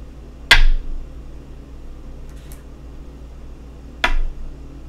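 Go stones are placed on a wooden go board, making two sharp, bright clacks with a short wooden ring. The clacks are spaced a few seconds apart over a steady low background hum.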